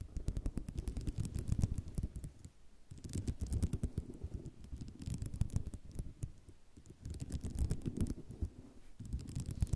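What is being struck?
Ceramic mosaic tile sheet.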